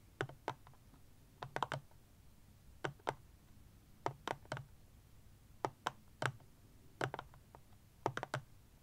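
A black plastic power bank stands upright while fingernails and fingertips tap quickly on its casing. Bursts of short, dry clicks with a low body and a brief bright edge come in quick clusters of two to four, separated by quiet pauses.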